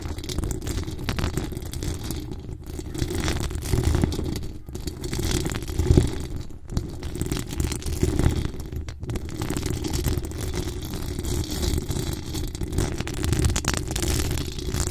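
Both hands cup a hollow metal mesh microphone grille and scratch it continuously with long acrylic nails. The result is a steady, dense rustling scrape that is heavy and boomy in the low end, with faint bright crackle above and a few louder swells along the way.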